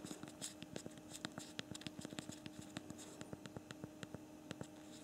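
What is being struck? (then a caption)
Small plastic physical phone keyboard. Both thumbs type rapidly on the backlit physical plastic QWERTY keyboard of a small BlackBerry Priv smartphone, producing a quick, irregular run of about 23 short, dry key clicks. The clicks are quiet and sharp, with no ring, over a faint steady low hum.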